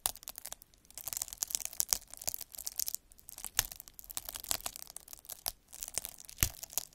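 A metal-needle derma roller is rolled back and forth across a clear sheet of air-filled plastic bubble wrap, scratching the bubbles. The result is a dense, bright crackling and scraping, broken by sharp clicks and a few louder snaps, with very little low end and no ring after each sound.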